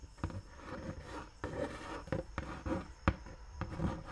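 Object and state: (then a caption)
Cardboard box scratched with nails. Fingertips and long nails rub and scratch the flat side of a large, empty-looking brown cardboard Dr. Martens shoe box held upright. Soft, low, papery scraping runs throughout, broken by six sharper taps and scratches that stand out above the rasping.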